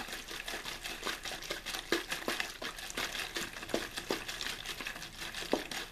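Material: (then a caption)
Thin plastic. An empty, hollow, clear plastic water bottle with a blue label is quickly squeezed and crinkled in one hand. It gives a steady run of bright, sharp crackles and pops, with little low end. The crackles are short and dry, with a few louder snaps standing out.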